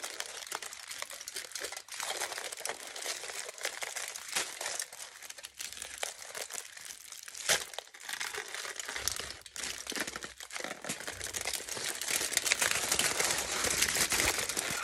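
Hands crumple, squeeze and rub a crinkled sheet of thin aluminium foil with the fingers. The result is a dense, steady stream of bright, crackly crinkling with quick sharp snaps and almost no low end.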